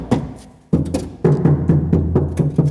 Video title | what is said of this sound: Tür-Dämmung im Auto - Wie geht Fahrzeugdämmung? - ARS24 | it all sounds very hollow